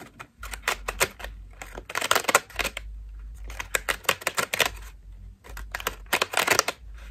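A fist-sized cream foam bath loofah with ruffled petals and a white rope loop is held in both hands while long nails scratch and tap its foam petals. The result is bursts of dry, bright, crackly scratching and quick taps, clustered into three busy passages separated by quieter pauses over a low steady hum.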